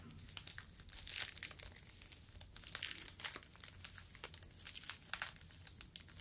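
A yellow foam fruit protective net, a mesh sleeve, is stretched and squeezed between fingers. It gives off a dense run of soft, bright crinkling and squeaky crackles with very little low end.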